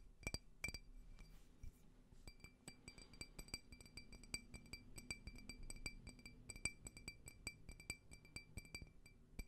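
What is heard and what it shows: A small, clear, faceted, hollow, empty drinking glass is tapped with fingernails close up. Quick, bright clinks ring around a steady high pitch near 2.3 kHz and fade almost at once. The taps come in a rapid, uneven run over a soft low rumble.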